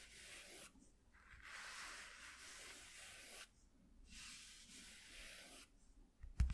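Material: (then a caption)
Cardboard. Fingertips and short nails scratch and rub across a flat white piece of corrugated cardboard from a shoe box lying on black cloth. Three steady, airy scraping passages are separated by brief quiet gaps, and a sharp, louder tap or bump comes right at the end.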